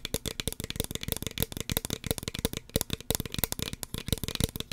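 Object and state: Plastic spray bottle.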